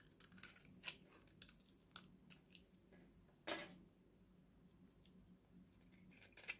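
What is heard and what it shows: An oval, solid, hand-sized purple Nivea bar soap is held in one hand and shaved with a steel utility knife blade, and dry flakes fall off. Repeated crisp, bright scraping and cutting strokes crackle over a faint steady low hum, with the loudest, sharpest stroke midway through.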